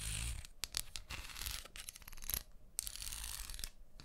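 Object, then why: Wooden comb teeth scraped with fingernails. Long manicured nails scratch and strum along the teeth of a small, solid brown wooden comb held in one hand near a binaural microphone. The result is a series of bright, dry, raspy bursts made of rapid ticking clicks, with brief quiet gaps between strokes and a faint low rumble underneath.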